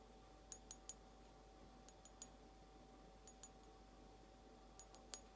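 Long almond-shaped nails slowly tap a small, empty, hollow blue glazed ceramic egg cup, making 11 short, bright, high clinks in loose groups of two or three. Each tap rings only briefly over a quiet background with a faint steady hum.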